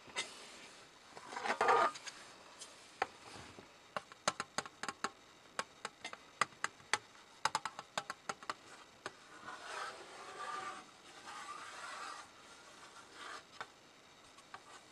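Fingertips rub and scratch across the inner base and rim of an empty, hollow, gold-coloured heart-shaped tinplate tin, which lies open with its other half sitting to the side. Rough scraping swells are broken up by a steady run of short, dry, bright ticks and taps that die away almost instantly.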